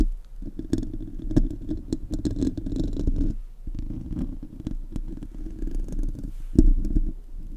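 Fingertips and nails of both hands scratch the hollow metal mesh grille of a silver Blue Yeti USB microphone with no foam cover. The result is a dense, low, rumbling scrape with scattered sharp ticks, a brief drop around the middle, and a louder thump near the end.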